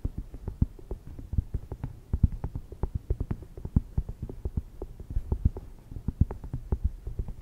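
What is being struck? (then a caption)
Thin cork coaster. Long red nails rapidly tap and scratch a thin, round, solid cork coaster lying on a fluffy mic cover. The result is a quick, uneven run of dull, low, muffled taps that stop dead with no ring, with faint scratchy texture between them.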